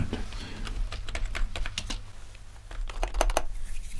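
Both hands type with their fingertips on a full-size gaming keyboard with a grey metal top plate and black plastic keys. A quick run of sharp, bright key clicks sits over a steady low hum, briefly thinning out in the middle before a denser burst of crisp taps at the end.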